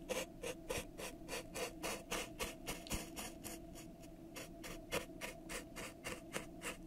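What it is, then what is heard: Plastic cup. A thin makeup brush is rubbed and scraped along the outside of a pink ribbed, hollow, empty disposable plastic cup held over the microphone. It makes quick, fairly steady strokes, about three to four per second, each a soft, bright, hissy scratch with a faint hollow plastic tone in the low-mid range.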